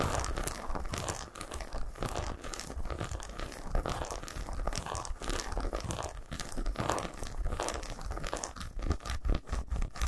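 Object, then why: Milk chocolate bar. Long nails scratch and tap across the segmented front of a solid milk chocolate bar resting on a towel. The result is a continuous stream of dry, crinkly scratching and quick, sharp taps with a deep, muffled body underneath and bright clicky edges, steady in level throughout.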